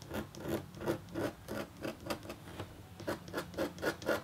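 A metal-tipped stylus scratches a thin, solid, flat copper foil scratch art board coated in black. About 16 short, dry scraping strokes come at an uneven pace, each with a brief rasp centered in the midrange and faint bright edges. Each stroke fades almost at once.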